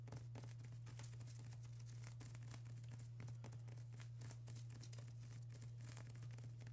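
Long acrylic nails on both hands tap and scratch a flat sheet of plastic bubble wrap, making a dense, quiet stream of crinkly clicks and scrapes. A steady low hum runs underneath throughout.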